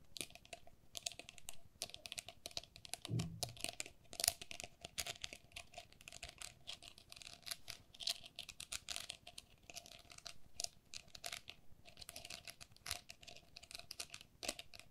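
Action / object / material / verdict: tap / perforated plastic pen cup / plastic / none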